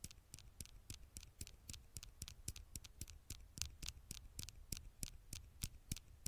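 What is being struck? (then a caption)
Glass smartphone screen. Long fingernails scratch and tap the glass screen of a black smartphone held in one hand. Quick, bright clicks repeat at an uneven pace over a faint low rumble, each dying away almost at once.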